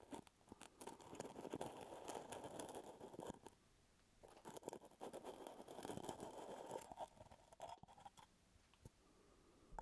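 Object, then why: Plastic screw lid on a full jar. Fingertips scratch and tap the brown plastic screw lid of a full plastic peanut butter jar held close to the mic. The result is dense, dry crunchy scratching with quick light taps, in two busy bursts separated by a brief quiet pause.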